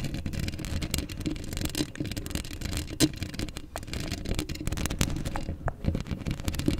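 Long acrylic nails scratch across a hollow black steel mesh microphone head, up close. The result is a dense, continuous rasping scrape with a heavy low rumble, a hollow ringing tone underneath, and frequent sharp bright ticks that die away almost instantly.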